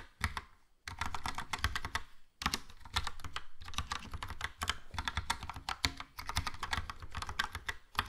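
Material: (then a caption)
Plastic. Fingertips type slowly on a Logitech POP Keys plastic mechanical keyboard with a yellow plastic case and round plastic keycaps. It makes a steady run of quick, clacky key presses with a bright click on top and a low thock under each stroke, broken by a couple of short pauses.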